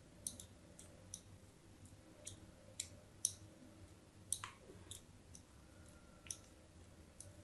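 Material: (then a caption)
Soap. A craft blade scrapes diagonal score lines across the surface of a solid white soap bar held in the hand. It makes a series of short, dry, bright clicks and scratches, each dying away almost at once, over a faint low hum.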